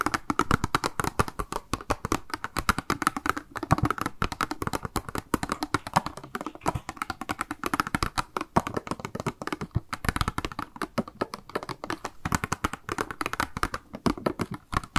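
Long acrylic nails rapidly tap and scratch the sides and corners of a small, hollow, translucent pink plastic cube box labelled "MAKE UP," held in the hands with a pink round item inside. The result is a dense, continuous stream of short, dry plastic clicks with a hollow low-mid body, quick decay and little high-end brightness.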